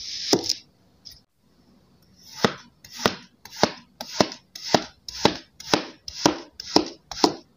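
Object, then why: Kinetic sand cut with a steel knife. A steel kitchen knife blade slices repeatedly through three small, solid, heart-shaped molds of pink kinetic sand on a white surface, with chopping and scraping cuts. After a couple of early cuts and a brief pause, there is a steady run of about ten evenly spaced strokes. Each is a soft, gritty, bright swish that ends in a crisp tap and dies away at once.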